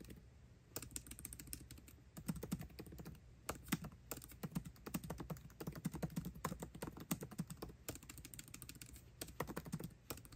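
A 13-inch aluminium MacBook Pro laptop keyboard with backlit black plastic keycaps is typed on fast with the fingertips of both hands, tapping the keys continuously. The result is a steady stream of short, crisp, soft clicks with brief pauses, over a low, constant hum.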